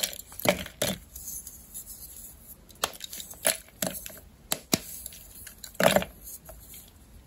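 A palm-sized solid rectangular block of white gym chalk (magnesium carbonate) with a pink coating is held over a pink plastic mortar and snapped apart with fingertips and long red-painted nails, exposing its crumbly white interior. Sharp, dry cracks ring out between quieter gritty crumbling and crackling, and loose fragments may also tick into the bowl.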